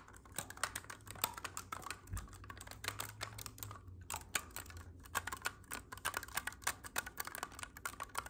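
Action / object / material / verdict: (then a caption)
tap / clarinet with metal keys / metal keys / none. Fingertips quickly tap and press the silver metal keys of a hollow black clarinet, seen close up. A quiet, steady run of sharp, bright clicks and soft taps with very little ring, over a faint low hum.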